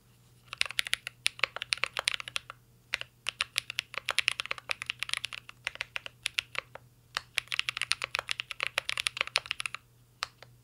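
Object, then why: Mechanical keyboard with plastic keycaps. Fingertips type continuously on a mint-green Cyberboard R3 mechanical keyboard with plastic keycaps and a metal case. Quick runs of sharp, bright key clacks are broken by brief pauses, over a faint steady low hum. Each tap is crisp and dies away almost instantly.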